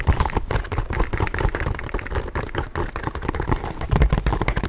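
A small, hollow tan-orange leather satchel with buckled straps and brass hardware is held close to the microphone and tapped with fingertips and nails. The result is a rapid, uneven stream of soft, dull thumps and light clicks. The sound is deep and muffled, with little brightness and a very short decay.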